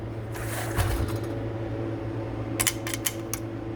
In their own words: this is actually aluminum but it sounds like plastic